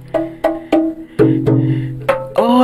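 Rock at Goa Gendang ("drum cave") is struck seven times, including with a bare hand, giving hollow, drum-like booms. Each hit has a short attack and a pitched, tonal ring around 535 Hz over a low hum. The hollow sound is attributed to a wide, water-filled cavity beneath the rock.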